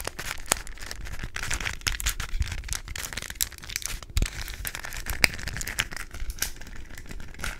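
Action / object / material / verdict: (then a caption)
tap / plastic puzzle cube / plastic / none. A small hollow plastic 3x3 Rubik's cube with coloured stickers, held close, is tapped and scratched with long nails and possibly twisted. Dense, crackling clicks and scratchy rasps come quickly, with bright ticks over a low rumbling bed. Short, sharp taps stand out from the steady crinkly scraping.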